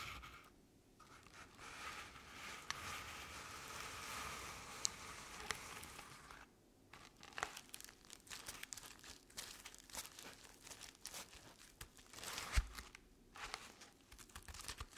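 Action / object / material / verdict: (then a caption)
scrape / artificial pumpkin covered in crinkled paper / paper / none. Long painted nails scratch the top and sides of a medium artificial jack-o'-lantern covered in crinkled orange paper. The result is soft, dry crinkling and rustling scrapes with brief quiet pauses between strokes. Occasional sharper ticks stand out against the scratching.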